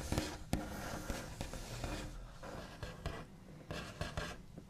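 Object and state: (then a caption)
Wooden tabletop, nails scraped and tapped. The backs of fingernails tap, rub and trace across a large, flat, solid wooden tabletop with a smooth white finish. Several short, dull, low-heavy knocks stand out over a continuous soft, scratchy rasping of nails dragging across the surface.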